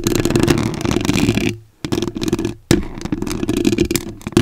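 Very long acrylic nails scratch and tap on a soft, porous white foam windscreen covering a microphone, making a dense, close, crackling rustle with a heavy low boom. The scratching drops away to near silence twice, then resumes sharply on a loud tap and continues to the end.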